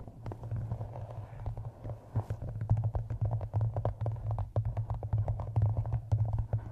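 Long nails tap and scratch the paper map-printed cover of a solid, closed hardcover book held on the microphone. Quick, dense, dull taps mix with short scratchy clicks over a steady low hum.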